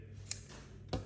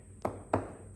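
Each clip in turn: First: tonally dead camphor laurel panel. Second: tonally dead laminated hardwood panel.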